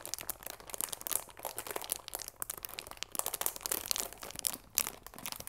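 Long nails and fingertips crinkle and scratch the clear plastic film wrapped around a cardboard chamomile tea box. The result is a dense, steady stream of bright, crisp crackles and scratchy rustles, with short louder bursts and almost no low end.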